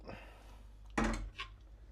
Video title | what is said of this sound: Cooking Oil Solidifier - Dispose of your used oil sensibly | It's solid. If you shake it, pretty solid.